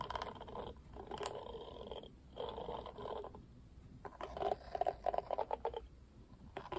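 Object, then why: Plastic paddle hairbrush with plastic bristles. Fingers strum the black plastic bristles of a pink plastic paddle hairbrush, making soft, raspy rustling bursts centered in the midrange. Later, the strums break into quicker, sharper ticking flicks before fading out.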